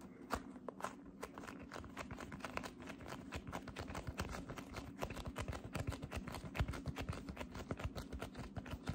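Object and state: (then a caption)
Cloud slime being squeezed. A ball of light-blue cotton candy cloud slime is held in both hands while fingertips with long red nails slowly grip, squeeze and press into it. Dense, soft sticky crackles and quick pops repeat throughout, with a low steady hum underneath.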